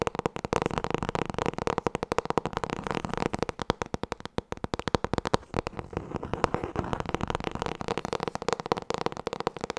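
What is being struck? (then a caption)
Hardcover book with a board cover. Long nails tap fast on the front cover of a solid black hardcover book with gold lettering, held in both hands. A rapid, continuous stream of short, dry, hollow taps is heard, with a mid-range tone around 480 Hz. Each tap stops almost instantly, with little low rumble or high hiss.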